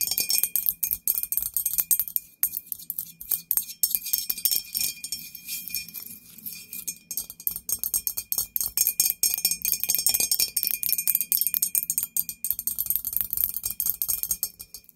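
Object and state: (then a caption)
Ceramic ghost candle holder tapped with nails. Long nails tap rapidly on the head and body of a medium-sized, hollow, white glazed ceramic ghost-shaped candle holder standing upright. The taps make dense, bright, clicky ticks that die away almost at once, with a faint steady ring beneath them.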